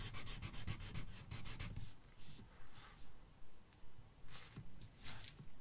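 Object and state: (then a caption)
Marker coloring on a paper page. A red marker tip rubs back and forth across a thin paper coloring book page in coloring strokes. Quick, steady scratchy strokes come first, then slower, separate swipes, each with a soft bright hiss over a faint low rumble.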